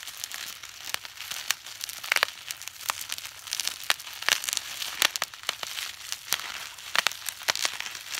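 A clear plastic bubble wrap sheet is held in both hands while fingertips squeeze and pop its air bubbles, crinkling the film. Bright, continuous crinkling is broken by many short, sharp pops spread unevenly through the clip, with almost no low end and no ring after each snap.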